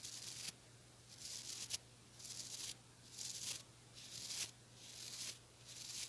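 Fingernails scratch and pluck the bristles of a small white-bristled plastic brush with a blue handle, making repeated bright, crackly bursts of rasping noise separated by short quiet pauses. A few sharp clicks stand out at the ends of some strokes, over a faint steady low hum.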